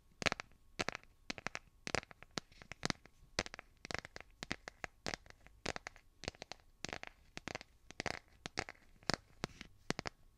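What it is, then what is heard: Smartphone in a plastic case. Fingernails tap and scratch the back of a solid, hand-sized smartphone in a light blue plastic or silicone case, near the camera cutout. Dozens of quick, dry, bright clicks and short scratchy bursts come in irregular clusters, each stopping almost instantly with no ring, over a quiet, soft background.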